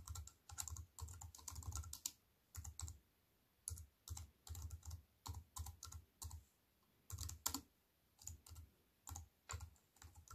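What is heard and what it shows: Fingertips with white-painted nails type rapidly on a slim wireless keyboard with black plastic keys in a grey metal-look frame, lying on a wooden table. Quick bursts of short, dry key clicks, each with a soft low thump and a bright tick, are broken by brief pauses.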